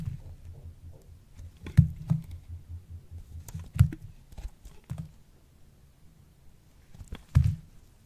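A small knife blade scrapes and carves thin strips off a hand-sized, solid pink soap bar that has been puffed and dried in a microwave and is held in one hand. Soft, low, dull scraping and crumbling runs throughout, broken by a few sharper, louder knocks as the blade cuts into the bar.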